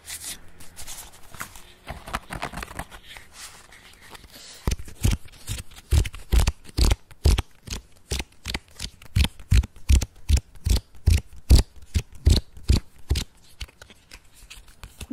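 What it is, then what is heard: Paper playing cards. A deck of red-backed paper playing cards is held in the hands and shuffled, giving a soft, continuous riffling rustle for the first few seconds. It then shifts to a quick, slightly uneven series of sharp, dry flicks as the fingers snap the cards, each short click dying away almost instantly.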